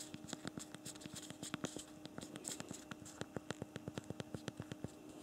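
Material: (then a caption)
Plastic. A BlackBerry Priv smartphone's physical plastic keyboard is typed on rapidly with both thumbs. The result is a fast run of short, dry clicks with a bright top and a faint steady hum underneath. The keystrokes come in quick bursts with slight pauses between them.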